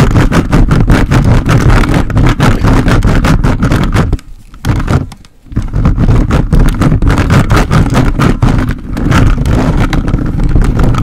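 A plastic toy robot grabber hand claws and scratches a hollow metal mesh microphone head, staying on the grille throughout. The result is a dense, loud run of rapid, rough scraping and rustling, heavy in low boom with a steady low hum. The scratching drops to near silence briefly around four to five and a half seconds and dips again near nine seconds.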